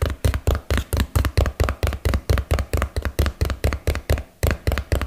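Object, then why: Small cardboard box. A small, hollow, printed cardboard box is held in both hands and tapped with fingertips and nails close to the mic. About 23 quick, fairly steady taps land as deep, hollow thuds with a faint bright click at the front of each, fading almost at once.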